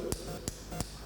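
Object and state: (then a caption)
Pen tapped on a wristwatch. A pen is tapped against a wristwatch three times, each tap giving a short, sharp click with a bright top and almost no ring. Between the taps there is a low, steady background hum.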